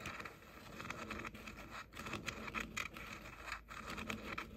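Short painted fingernails tap and scratch the outer shells of the hollow ear cups on a pair of pink plastic JBL over-ear headphones held in both hands. The result is a soft, steady run of quick, bright clicks and scratchy rubbing with a light hollow plastic tone. Each tap dies away almost instantly.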